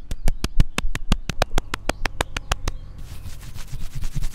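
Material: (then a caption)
Wood. Fingertips and nails tap quickly on the flat cut top of a large, solid tree stump with light bare wood and rings, with the recorder held close, giving a steady run of short, dry knocks with a deep low thump. After about three seconds the tapping gives way to a soft, continuous, bright scratching across the wood.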